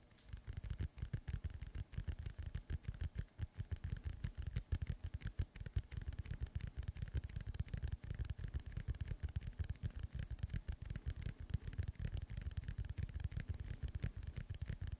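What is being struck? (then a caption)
Inflated synthetic leather soccer ball. Fingernails tap and scratch the surface of a hollow, inflated synthetic leather soccer ball held close to the mic. The result is a steady stream of rapid, short, dull thuds with a deep hollow boom around 86 Hz, plus faint scratchy rasps over the top throughout.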